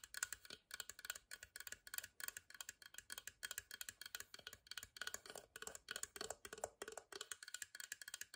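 A small, hollow, whitewashed carved wooden box is held at an angle while fingertips and long nails tap quickly on its side and the edge of its lid. The result is a steady stream of dry, bright clicking taps that die away almost instantly, with almost no low end.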